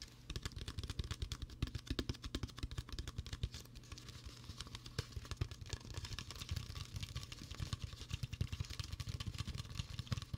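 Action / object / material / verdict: tap / plastic soda bottle / plastic / none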